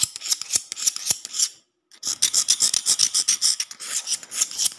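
A metal utility knife blade scratches and taps a solid concrete floor, and the blade is mostly out of frame by the end. Quick, bright, rasping scrapes and sharp ticks come in an uneven rapid run, with a brief silent gap shortly before the two-second mark before the scraping resumes.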